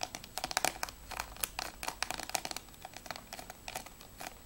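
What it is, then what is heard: Plastic game case. Fingernails tap fast on the top edge of a closed, hollow plastic PS3 game case for Assassin's Creed II Platinum, then move to its back cover. The taps are quick, light and bright, with a crisp clicky tone and almost no ring. They land in irregular clusters at a quiet level.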